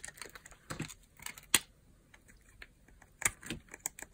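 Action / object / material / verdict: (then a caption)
scrape / bar of soap cut with a knife / soap / none. A metal knife blade shaves thin, crunchy slices and flakes from the surface of a solid, translucent yellow bar of dry soap held in the hand. Quiet, bright, dry crackling scrapes come in short, irregular bursts, with a few sharper snaps that stand out and die away almost instantly.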